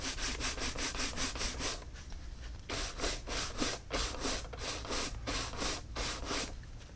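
A tan Tecovas caiman leather cowboy boot, hollow and empty and held in hand, is brushed quickly with a horsehair shoe brush. Rapid, bright, airy swishing strokes come in quick bursts with a brief pause near the middle, over a low background rumble.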